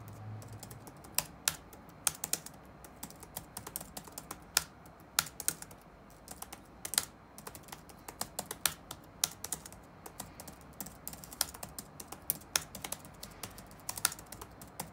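Fingertips type on the black plastic keycaps of a dark laptop resting on a wooden desk, making a steady run of short, bright, crisp clicks at an uneven pace. Each tap dies away almost instantly over a faint hiss, with a brief low hum at the very start.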